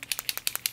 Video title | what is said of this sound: Cute Christmas Ornaments / Paint Brush Decorations - Christmas 2020 | when you shake it you hear that little ball moving in there so it actually has the paint in it